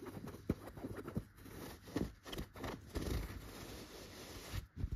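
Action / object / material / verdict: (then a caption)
scrape / stuffed chenille fabric pillow / chenille fabric / none. Fingers with short, red-painted natural nails scratch and rub the surface of a soft, stuffed yellow tufted chenille pillow. The result is a quiet, muffled run of low scratchy rustling, broken by brief thuddy strokes. There is very little bright content.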